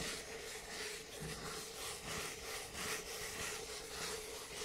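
Fingertips and nails rub and scratch the wall of a hollow white Starbucks paper cup with a white plastic lid, held in front of a microphone. A continuous, bright, scratchy rubbing swells and fades in loose, quick strokes at a steady level, with a faint hollow tone around 430 Hz underneath.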